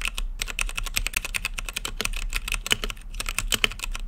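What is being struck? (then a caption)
Mechanical keyboard with plastic keycaps. A plastic-keycap mechanical keyboard in a clear acrylic lit case is typed on with fingertips. The result is a rapid, continuous run of short, bright clicks that die away almost instantly, over a steady low hum.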